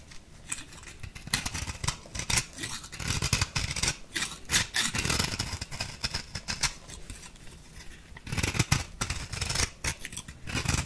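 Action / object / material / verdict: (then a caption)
scrape / compressed powder bath bomb / compressed powder / none. A small metal blade scrapes across the cut surface of an orange-pink compressed-powder bath bomb. It makes a steady run of dry, gritty scratches and crumbly rasps, bright and hissy, with short louder bursts as the blade catches and the powder breaks away.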